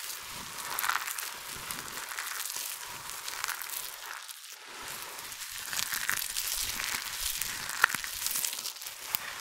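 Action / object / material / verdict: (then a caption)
scrape / pile of dry soap shavings / soap / none. Fingertips with long nails scrunch, squeeze, crush and rub handfuls from a large heap of small, multicolored dry soap flakes. It makes a continuous soft, bright crinkling crackle that swells and eases with each squeeze, with almost no low end and a few sharper ticks standing out.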